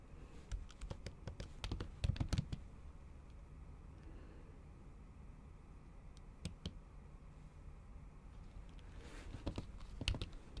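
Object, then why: Laptop keyboard with silicone keyboard cover. Long acrylic nails type on a MacBook keyboard covered by a pink silicone keyboard cover. Quick, irregular clicky taps come in bursts near the start, with a few more in the middle and toward the end over a low background hum. The sound is dry and soft, with each tap ending almost instantly.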